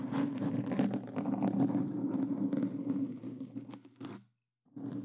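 Hands in black claw gloves with plastic fingertip claws scratch continuously over a black foam windscreen on a Blue Yeti microphone. The sound is a dense, close, muffled scraping and rustling with a steady low-mid body. It cuts to silence for about half a second near the end, then resumes.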